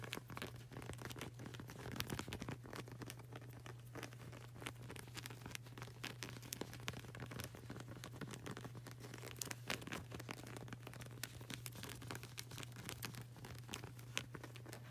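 Long burgundy nails rapidly tap and scratch the dark grey, patterned rubber sole of a flip-flop, which is solid and flexible, held up close. The result is a dense, crinkly stream of quick dry clicks and scrapes over a steady low hum.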